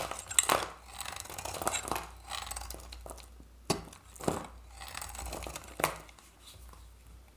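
A utility-knife blade shaves orange curls off a solid oval Santoor bar of dry soap with a reddish varnished skin, held in the hand. Each pass makes a dry, crisp scraping crunch with bright crackling texture and sharp onsets that stop quickly. Quieter stretches of softer rasping fall between the louder strokes.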